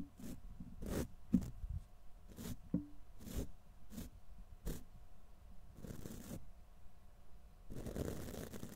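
The black plastic bristles of a wide tint brush are raked across the side of a silver condenser microphone's hollow steel wire-mesh grille. A series of short, dry, scratchy strokes comes through heavy in the low end, with brief bright edges and a faint steady hum underneath. The clip ends in a longer, denser stretch of rough brushing.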